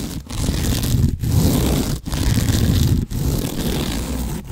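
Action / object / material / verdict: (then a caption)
scrape / sisal rope scratching post / sisal rope / none. Nails scratch and rub quickly over a large cylindrical scratching post wrapped in natural sisal rope. The result is a dense, continuous, rough scraping, heavy in the low end with little high content, broken by brief pauses between strokes.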